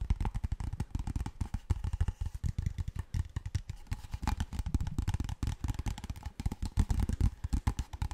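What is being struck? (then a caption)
Plastic water bottle. A large, clear, labeled PET water bottle, hollow and apparently empty, is held in both hands and tapped and scratched with fingertips and nails close to the mic. The result is a rapid, continuous stream of short, dull, hollow thumps with a deep low boom, overlaid by light crackly scratching and clatter.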